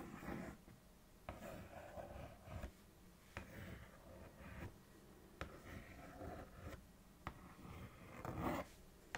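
Long nails trace and scratch around the printed cereal bowl on the front of a Froot Loops cardboard box. The result is a series of soft, dry scraping strokes, each starting with a sharp scratch and fading back to quiet between passes.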